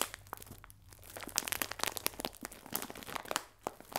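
A clear plastic film bag full of biscuits is held upright and pressed and rubbed with fingertips and nails. It gives a run of bright, crisp crinkles and crackles, with short sharp snaps over a soft rustle.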